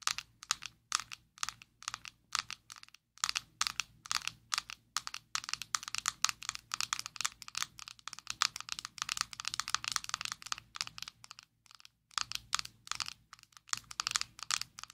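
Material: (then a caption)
Plastic. Long nails tap rapidly on a closed, small square black plastic Maybelline Fit Me loose powder jar held in both hands. The result is a dense run of dozens of crisp, bright, dry clicks with no ring, broken by brief pauses near 3, 12 and 13.5 seconds.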